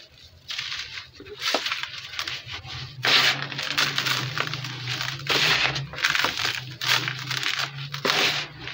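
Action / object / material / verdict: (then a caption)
scrape / lumps of cement powder crushed by hand / cement / none. Cement-coated bare hands squeeze and rub solid, crumbly lumps of dry grey cement powder in a blue plastic basin, crushing them with fingers and palms. This makes a steady, gritty crunching and crackling with bright, sandy texture. The chunks crumble and powder falls back into the basin.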